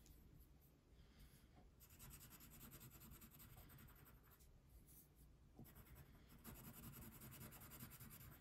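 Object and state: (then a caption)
Wax crayon coloring on a paper sheet. A brown wax crayon colors a thin paper coloring sheet resting on a table. Short, bright scratching strokes run steadily and quietly over a soft low background rumble.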